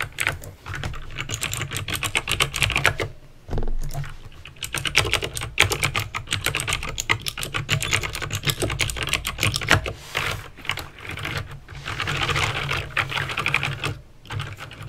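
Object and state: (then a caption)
Plastic mechanical keyboard with clicky switches. Fingertips type rapidly on a backlit plastic mechanical keyboard with clicky green switches, producing a dense stream of sharp, bright clicks with short decays. A steady low hum sits beneath the typing, with brief pauses around 3, 10 and 14 seconds.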